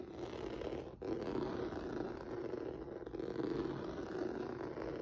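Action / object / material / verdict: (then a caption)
scrape / textured rubber noodle mat / rubber / none. Fingertips and nails scratch across a flat black rubber or vinyl mat with a textured noodle surface. The result is a steady, low-mid rasping scrape that stays fairly even for the whole clip, with a brief dip just before the first second and a slight swell around the third.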